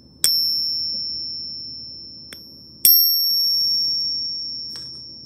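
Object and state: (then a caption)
Counterfeit silver dollar coin, fake. A counterfeit Peace dollar is gripped in a tester and tapped twice, producing two sharp strikes that each ring with a high, piercing tone with an overtone. The ring decays slowly over a couple of seconds. Its pitch is much higher than a genuine silver coin's, marking the coin as fake.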